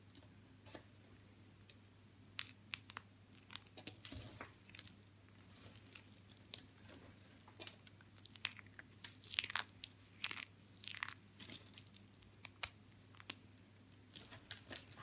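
Thin, curled white and blue strips of dry soap are held between the fingertips and snapped into small brittle pieces over a pile of soap chips. Many sharp, bright, dry cracks and crinkly crunches come in quick, irregular bursts over a faint steady low hum.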